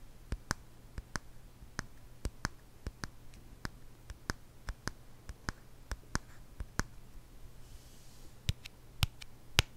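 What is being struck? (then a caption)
Small wooden jar with lid. A small, round, hollow wooden jar with a lid and a label is tapped slowly with fingernails and fingertips. The result is 19 short, sharp clicking taps that carry up into the bright range, die away almost instantly, and are spaced unevenly over a quiet, steady low hum. The last few taps near the end are noticeably louder.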